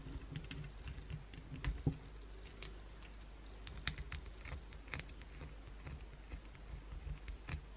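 A solid white bar of soap is held in the hands while long blue acrylic nails scratch across its surface, dropping flakes onto the towel below. Quick dry scratches and ticks, some bright, sit over a steady low rumble, with a few sharper peaks standing out.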